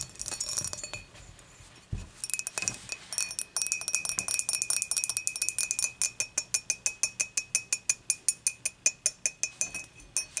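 Long matte nails tap rapidly around the wall and handle of a clear, dimpled glass beer mug, hollow and empty, after it is moved upright on the table. Bright, high clinks with very short rings come in dense clusters at first, then settle into a steady, evenly spaced run of sharp taps.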